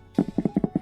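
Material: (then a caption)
Cardboard. Fingers tap on the textured side of a cardboard Pokémon card product box, giving about eight quick, dull taps in under a second. Each tap is a short, low thump centred around 200 to 300 Hz that dies away almost immediately.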